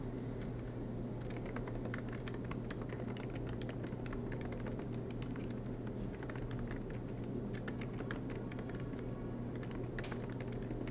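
Both hands type continuously with their fingertips on a silver MacBook Pro laptop, whose low-profile black plastic keys sit in an aluminium body resting on a desk mat. The result is a steady stream of light, crisp key taps at an even level, over a constant low hum underneath.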